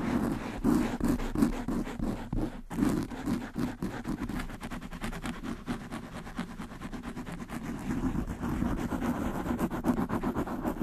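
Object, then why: Foam microphone windscreen. Long nails quickly scratch both sides of a black foam windscreen on a desktop microphone. The result is a dense, rapid, uneven rustling with a strong low-mid thump and little high end, and it continues without a break throughout.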